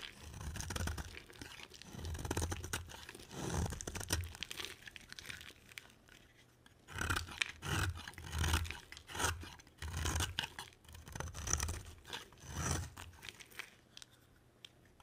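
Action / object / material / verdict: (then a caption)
scrape / bar of soap / soap / none. A box cutter blade carves a palm-sized solid white bar of soap, making dry, crunchy scraping and shaving sounds in rhythmic bursts. The cuts come in quick, gritty strokes with a low thud beneath and bright, crisp flakes on top, with a short quiet pause partway through before the carving resumes.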